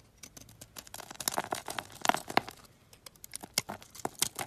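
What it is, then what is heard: Bar soap being shaved. A solid olive-green stamped bar of soap, held in the hand, is shaved into thin flakes with a box-cutter blade. Quick, irregular dry scraping and crisp crackling cuts follow one another, each short and bright with almost no low end.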